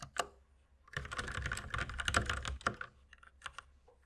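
A white compact mechanical keyboard with plastic keycaps and a red accent key sits on a wooden desk and is typed on quickly with the fingertips of both hands. A couple of isolated taps give way to a dense flurry of sharp, clacky plastic keystrokes with a low thock. The typing then thins out to scattered, quieter taps.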